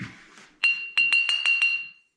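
A Dacian-style unglazed clay pot, dried, polished with a stone and fired until it turned red, is knocked six times. Each knock gives a bright, clear ring at about 2.7 kHz that carries briefly between strikes, showing the fired pot rings clear.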